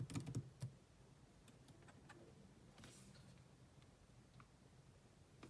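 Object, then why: Plastic laptop keyboard keys. Two hands type on a grey laptop keyboard with black plastic keys, using long nails and fingertips. A quick cluster of louder, low clicking taps opens the clip, then softer, sparser taps continue over a quiet, steady background.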